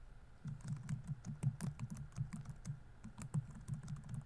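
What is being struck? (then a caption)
Plastic laptop keyboard keys. Fingertips type steadily on the plastic keys of a laptop keyboard, producing a quick run of soft, muffled clicks with a low thump and faint bright ticks. Each keystroke dies away almost instantly, with only a quiet steady hum underneath.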